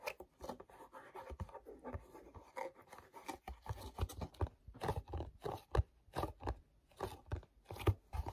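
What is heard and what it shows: Fingertips tap and rub with a sticky grip on the back panel of a small, hollow, glossy paperboard mochi box. A quick, irregular run of soft, dull taps and short crackly rubs follows, with a low, hollow body and very little high end. Each tap dies away almost at once.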